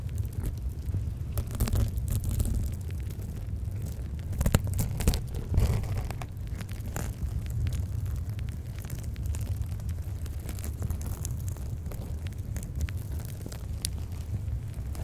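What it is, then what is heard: Foam kitchen sponge with scrub pad. A hand-sized, soft, porous rectangular yellow polyurethane foam sponge with a green abrasive scouring layer is held over and pressed against a microphone grille while long painted nails scratch and tap its green scrub side. The result is a deep, muffled, continuous rumble dominated by low frequencies, with crackly scratching and occasional sharper, brighter taps.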